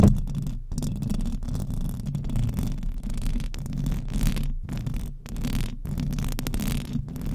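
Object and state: Metal microphone grille being scratched.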